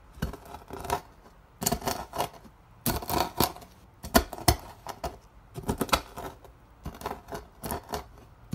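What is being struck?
Dried soap curls.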